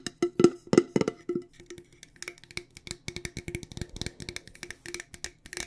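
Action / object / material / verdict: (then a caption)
tap / metal tea tin / metal / none. A hollow, medium-sized decorated cylindrical metal loose tea tin with a light-colored lid is held in the hand and tapped with long dark-painted nails on its lid and sides. The rapid, uneven taps give short, hollow clicks with a slight tonal ring around 350 Hz and a bright edge. The first few taps are louder, and the rest continue as a quicker, softer patter.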